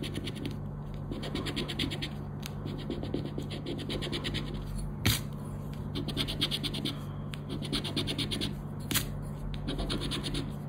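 A round black plastic scraper rubs the scratch-off panels of a thin coated-paper "10 Para Ganhar" scratch card lying flat on black cloth. It makes a steady, gritty scratching in quick rhythmic strokes over a low constant hum, with brighter rasping bursts and a couple of sharper scrape accents along the way.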